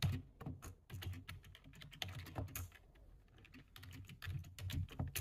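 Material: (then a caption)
Plastic. A low-profile plastic computer keyboard is typed on quickly with the fingertips of both hands. The result is a rapid, uneven stream of short keystrokes, each a soft low thud topped by a bright click, with brief bursts and pauses in the rhythm.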